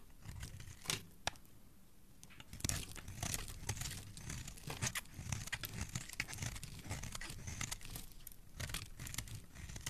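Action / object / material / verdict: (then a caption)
scrape / bar of soap shaved with a metal blade / soap / none. A metal utility blade carves a cream-colored solid soap bar with an embossed "Magic" logo, held in the hand, peeling off thick curls. Dense, crisp scraping and shaving strokes crackle with a bright, tearing texture over a soft low rumble, with a brief quieter pause early on before steady carving resumes.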